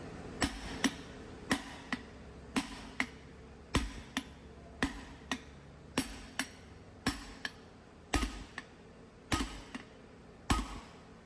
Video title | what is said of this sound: Freightliner M2 drive axle wheel seal and brake shoes replacement | you can hear the different sounding when you knock it. That's just to make you know it's seat down properly